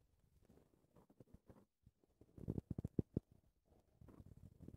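A black, soft and porous foam windscreen on a recorder microphone is scratched with long red-painted nails and fingertips while hands cup the foam. Quiet, muffled low scratching and rubbing come in uneven bursts, building to a louder run of thumpy scrapes midway before settling back into steady low rustling.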